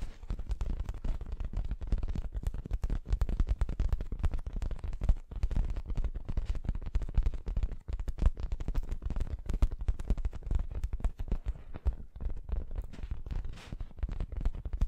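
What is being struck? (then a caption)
Stuffed fabric throw pillow. Long nails scratch across the surface of a soft, stuffed, orange printed fabric throw pillow. The result is a dense, continuous run of rapid, muffled scratching bursts, deep and low with almost no bright edge, holding a steady level throughout.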